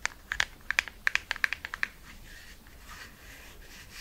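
A small, hollow, red printed cardboard lipstick box held in the hands is tapped rapidly with long red nails, giving 14 sharp, dry clicks over about two seconds. The clicks are bright, centered around 2 kHz, and stop almost instantly. After the clicks, only a faint, soft rustle remains.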